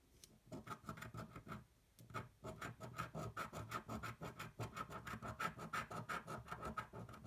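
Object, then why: Coin scraping a coated paper lottery ticket. A metal coin scratches the latex coating off a thin coated paper lottery ticket that lies flat on a white table, held down by one hand. Quick, uneven back-and-forth scraping strokes follow one another, with a faint rasping tone near 1.3 kHz. A brief pause comes about two seconds in before the steady scratching resumes.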